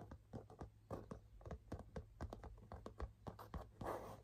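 Fingernails scratch back and forth across the front panel of a burgundy leather half-moon handbag. The result is a quick series of short, dry scratching strokes over a low, steady hum.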